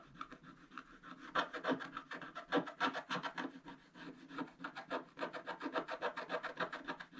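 A wooden stylus rubs and scratches the coating near the flower and coral on a flat, black-coated scratch-art paper page. A quick, somewhat uneven run of dry, raspy strokes comes at about three or four per second, mostly midrange with little low end. Each stroke stops almost at once with no ring.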